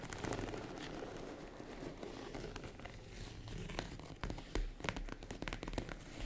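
A small, boxy tan faux-leather case, hollow and closed with a zipper around it, is scratched and tapped on its top and sides with long acrylic nails. A steady crinkly scratching fills the first seconds, then sharper, dry taps break through over a low, soft rumble, with short bright clicks that stop almost at once.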